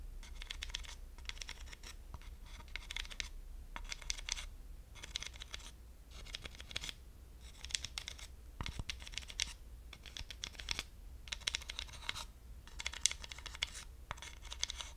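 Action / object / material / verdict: scrape / wooden slotted hot pad and wooden dowel / wood / none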